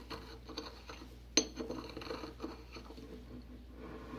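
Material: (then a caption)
Porcelain. A porcelain pestle grinds and scrapes white powder against the inner wall of a small white porcelain mortar held tilted in a gloved hand. Quiet, gritty rubbing and scraping runs throughout, with light taps and one sharp, bright clink of porcelain on porcelain near the middle that dies away almost at once.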